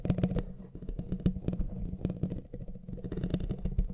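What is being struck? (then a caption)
Metal mesh microphone grille. Fingertips and nails of both hands scratch the bare, hollow black metal mesh head of a studio microphone. The result is a dense, continuous, low, boomy rumble with a hum-like tone, broken by rapid crackling scrapes that flash bright and fade almost instantly.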